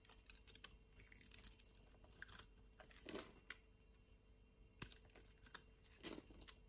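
A utility-knife blade scrapes along the edge of a solid orange bar of soap held in the palm, cutting off chunks. Short, dry, crunchy cutting sounds come in bursts, bright and crisp, over a quiet background, with a few fuller crunches as pieces break away.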